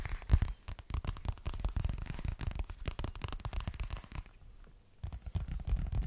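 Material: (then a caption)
Coated fabric. Fingernails rapidly tap and scratch a boxy, hollow yellow toiletry bag, probably of coated fabric. The result is a dense run of dull, low thuds with a faint scratchy texture, a brief quiet pause near the end, then more quick tapping.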